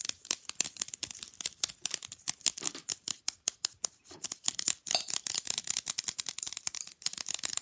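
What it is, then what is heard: Fridge magnet, nail tapping and scratching. Fingernails rapidly tap and scratch across the printed picture surface and edges of a small, rigid, flat rectangular fridge magnet. Around 39 sharp, dry clicks and scratches come in a quick, uneven stream. They are thin and bright with almost no low end, and each stops instantly with no ring.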